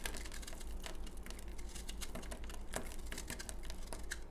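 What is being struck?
Bar of soap scraped by a knife blade.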